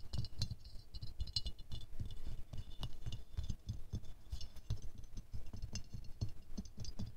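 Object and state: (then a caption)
Glazed ceramic rose figurine. A small silver-glazed ceramic rose ornament is held in the hands while fingernails tap and scratch its petals, at times quickly and at times slowly. The taps land as short, dull knocks with bright, clicky edges, mixed with light scratching. They die away almost instantly.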